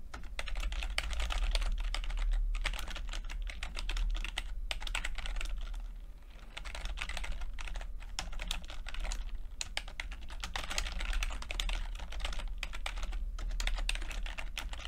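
Fingertips of both hands tap the plastic keycaps of a low-profile, backlit chiclet computer keyboard with red and blue lighting, typing continuously. The keys give a dense stream of short, bright clicks over a steady low hum, with a brief lull around the middle before the typing picks back up.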